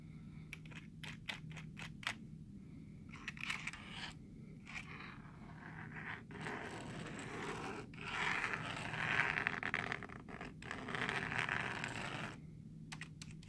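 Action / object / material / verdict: scrape / plastic computer keyboard / plastic / none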